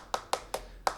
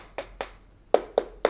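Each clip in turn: First: Four quick, dry knocks around 770 Hz on a plastic transmitter case that sounds solid rather than hollow. Second: Five quick knuckle knocks on plastic, a dull mid-pitched clack with no ring, hollow over the battery bay.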